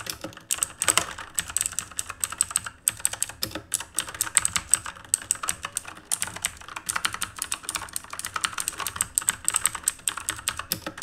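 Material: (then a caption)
Plastic. Fingertips type rapidly on the plastic keycaps of a black RGB mechanical keyboard made of plastic and metal. The result is a dense, steady stream of sharp, bright clicks and clacks with very short decay and little low end, while a faint, thin high-pitched tone runs underneath.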